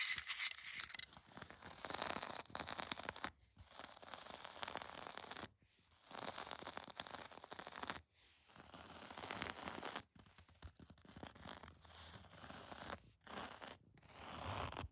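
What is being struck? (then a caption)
Looped-pile textile carpet. Long decorated acrylic nails scratch and rub across the fibres of a grey looped-pile textile carpet on the floor. The result is a dense, bright, scratchy rustle in sustained bursts, broken by several short silences.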